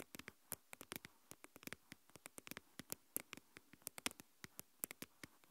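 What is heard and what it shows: Long nails tap and scratch the sides of a translucent plastic deli tub with its lid on, held in both hands and partly filled with coarse white salt. About 33 quick, bright clicks and ticks come in an irregular patter, each dying out almost at once over a quiet background.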